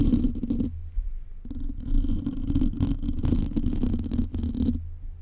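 Long nails scratch and tap a metal mesh microphone grille, with some hand gestures in between. The result is dense, scratchy rustling with a strong low rumble and quick, close-up taps, broken by a couple of brief quieter pauses.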